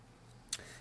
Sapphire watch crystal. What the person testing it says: it gives a nice thud when you tap it which is nice and reassuring you know it's decent quality